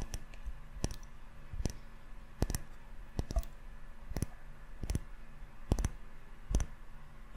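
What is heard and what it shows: A small glass candle jar filled with yellow wax and topped with a gold metal lid is held close and tapped with the fingertips on the glass and on the lid. The sparse taps are short, sharp clicks with a quick bright snap and almost no ring, spaced irregularly over a faint steady low hum.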